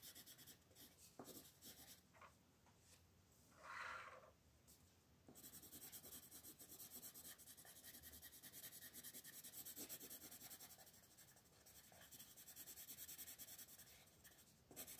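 A wooden colored pencil is rubbed in quick, repeated shading strokes over the hair area of a flat paper coloring book page while the other hand rests on the page. The result is a quiet, continuous scratchy rasping that is bright and hissy, with a brief louder, pitched scrape near the four-second mark. The strokes then settle into a denser, steady shading texture.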